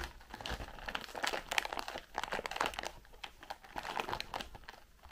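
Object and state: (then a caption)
Cardboard candy box. Long pink-painted nails tap and scratch the sides and edges of a white printed cardboard Raffaello candy box with a clear plastic window, held up in both hands and filled with wrapped candies. The result is a dense run of quick, dry crinkling taps and scrapes that stay mostly bright with little low end, rising and falling in small bursts.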